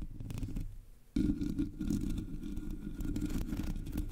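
Fingertips and long nails of both hands scratch the top of a Blue Yeti microphone's black hollow metal mesh grille. The result is a dense, rumbly scratching with a low, boomy weight and rapid scraping texture. It fades quieter for a moment, then returns abruptly louder and continues steadily.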